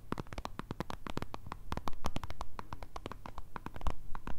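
Long red nails rapidly tap and scratch the printed plastic surface and cap end of a white Nivea squeeze tube, hollow and filled with cream. The result is a dense run of quick, dry, soft clicks with a dull low thump under each and scratchy bursts in between, each tap dying away almost instantly.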